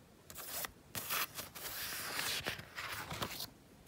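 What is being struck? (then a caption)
Painted paper page. Fingertips and painted nails scratch and tap the textured paint of a night-sky moon painting on a thin page of a spiral-bound mixed-media sketchbook lying on a fleece blanket. Several bursts of dry, bright scratching rasp across the paper, broken by short pauses and faint taps, and the sound is mostly high-pitched hiss with little low end.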